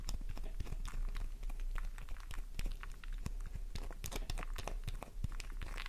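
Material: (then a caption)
Soap. A solid pink flower-shaped bar soap, held in the palm, is scraped with long nails, leaving soap dust covering the hand. The result is a fast, continuous run of crisp, dry scratching and crunching clicks, bright and sharp, over a steady low hum.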